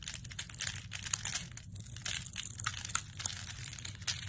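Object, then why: Glycerin soap bar scraped by a metal blade. A metal blade shaves thin shavings from the face of a hand-held, solid, translucent amber glycerin bar soap. The result is a continuous run of crisp, crinkly scraping and shaving strokes with bright, brittle crackles, over a faint low steady background.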